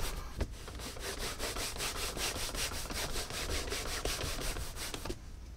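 A Tecovas caiman leather cowboy boot is buffed with a cotton cloth pulled back and forth across the toe. Steady, rhythmic, bright swishing strokes repeat quickly, with occasional soft low thumps, before the rubbing stops just before the end.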